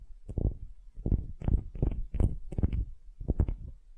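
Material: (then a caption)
Wood. Long glittery nails scratch a solid wooden ball held in both hands, making a series of short, dry, rhythmic scratching bursts. The sound is muffled and mostly low and rumbling, with faint brighter flecks and no ring after each stroke.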